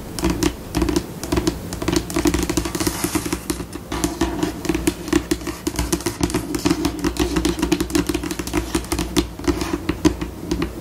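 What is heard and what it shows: Long pink acrylic nail tips tap and scratch with both hands across a flat, solid white glossy tabletop, likely laminate. Quick, typing-like clicks and scurrying scratches shift between slower and faster pace, with a steady low, mid-pitched hollow knock under each tap and brief, dry ticks that die away almost instantly.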